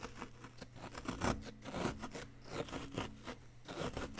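A solid, palm-sized yellow-green chalky plaster dig-kit block, held in one hand, is scraped and chipped with a pointed wooden stick, with loose plaster powder around it. Quick scratchy, gritty scrapes and dry chips come in uneven bursts over a faint steady low hum.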